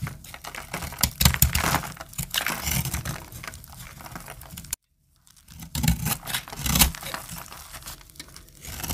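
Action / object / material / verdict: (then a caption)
scrape / soap bar / soap / none. A hand-sized solid bar of dry, cream-colored soap held in the hand is cut and scraped with a metal utility-knife blade, shedding flakes. Dense, dry crackling and crunching scrapes with bright gritty texture and low thumps fill the clip. A brief silent gap comes near the middle.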